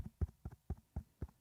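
A microphone covered with a foam windscreen is tapped six times, each tap a short, dull low thump with no bright edge and almost no ring. The taps sound soft and muffled because the foam dampens them.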